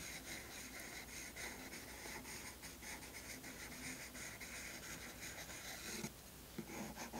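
A wooden pencil with a light-colored tip hatches across tan toned paper in a spiral sketchbook, over earlier charcoal. Steady, bright, scratchy strokes repeat in a quick rhythm over a low hum. Near the end, two sharper taps stand out before the scratching resumes.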